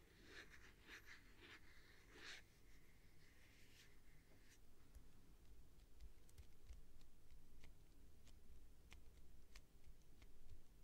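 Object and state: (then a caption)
Clear plastic tube container. Long nails scratch along the sides of a clear plastic tube with a printed label and sponges inside, making soft rasping strokes for the first few seconds. The scratching then gives way to quiet, sharp, bright taps on the plastic over a low, steady background hum.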